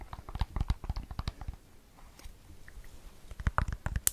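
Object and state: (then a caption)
Silicone-covered earbud case. Long nails tap and scratch a small, round, hollow AirPods case in a green and red watermelon silicone cover with a keyring. Quick bursts of dull, low-heavy taps mixed with soft scratching run for the first second and a half. A quieter stretch of light scratching follows before another cluster of taps at the end.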